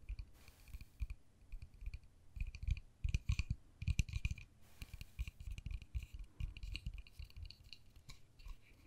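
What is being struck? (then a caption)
Small plastic case. Long fingernails tap on the pink face and white edges of a small, hollow, white-and-pink plastic case. Quick, dry clicks come in uneven bursts, each pairing a dull low knock with a bright tick that dies away almost at once.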